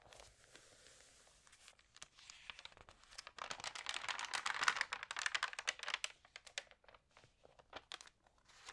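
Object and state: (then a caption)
Glossy magazine pages crinkled. Long painted nails and fingertips rub, crinkle and turn the thin, water-sprayed pages of an open glossy food magazine lying flat on a table. Soft, bright crinkles and papery scratches build into a denser, louder burst of rapid crackling in the middle before thinning out to scattered light taps and rustles.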